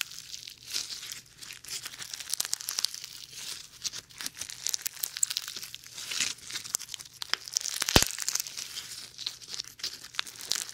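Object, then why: Slime with foam beads. Sticky slime full of small white foam beads is stretched into a long sheet and squeezed by fingertips, away from the mic. It gives a dense, bright crackling and crinkling, like rapid tiny pops and tearing, with sharper snaps now and then over a faint steady low hum.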